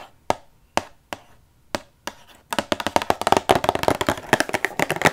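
A Rubik's cube inside a clear plastic display box is held close to the mic and tapped with long nails. Five crisp, well-spaced clicky taps with short ringing are followed by a fast, dense flurry of tapping.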